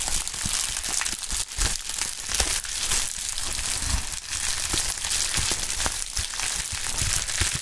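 A pink polyethylene bubble wrap sheet with air-filled bubbles is crumpled, stretched and crinkled by gloved hands. The result is a steady, bright crinkling with many sharp, quick crackles and snaps over a low, soft rumble of handling.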